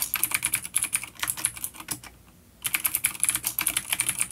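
A full-size black plastic vintage mechanical keyboard with grey keycaps, coiled cable and clicky blue switches, an A-grade unit on a wooden desk, is typed on rapidly with the fingertips of both hands. Dense, bright clicky key taps run throughout, with a brief quiet pause around the middle before the typing resumes.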